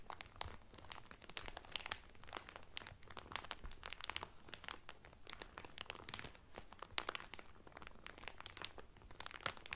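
Fingertips and medium painted nails press and crinkle the loose, thin clear cellophane sealing a folded blue terry Carnival towel that lies flat on a table. The result is a quiet, steady stream of dense, bright crackles and crunchy snaps that stop instantly with no ring, over a faint low hum.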